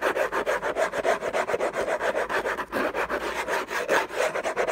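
Fingertips and short nails scratch the lid of a closed, long rectangular orange Hermès cardboard gift box covered in textured paper, lying on a fluffy blanket. The sound is a fast, uneven series of dry rasping strokes, about 22 of them, with a papery mid-range body and some bright hiss. It has no low end, and there is a brief pause near the middle.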